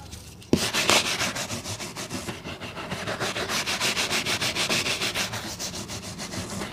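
A brown leather boot, held in one hand, is brushed with a wooden-backed bristle brush. After a sharp first contact, quick back-and-forth strokes follow in a steady rhythm of about three per second. Each stroke makes a bright, scratchy, rasping hiss.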